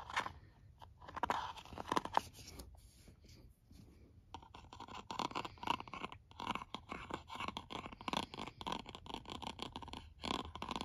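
Fingertips, then a white stylus tip, trace and scratch the top of a white plastic cosmetic jar lid on a full jar held in the hand. The first few seconds bring soft, scattered rubs and light taps. After that comes a denser run of quick, dry scratching strokes with a bright, crisp texture that continues to the end.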